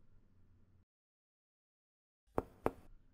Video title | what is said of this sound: Examen físico del Aparato Respiratorio - Semiología - FCM UNR | el sonido es timpánico el sonido cambia porque estamos percutiendo sobre el estómago un gran órgano hueco